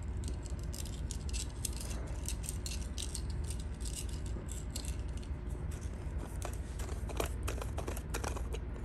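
A small black faceted plastic ball that looks 3D-printed, hollow and able to split into two halves, is held in both hands while long blue nails scratch and tap it and it is turned or shaken. Dense, irregular clicks and scratchy rattling run throughout, bright and crisp above a steady low rumble.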